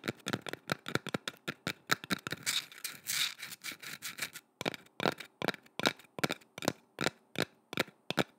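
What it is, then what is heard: Painted wooden carving. A curved, solid painted wooden boomerang-shaped carving, held in both hands, is tapped and scratched with long red nails. Quick, dry clicking taps come at an uneven rhythm, with a stretch of softer hissing scratches in the middle before more spaced-out taps resume.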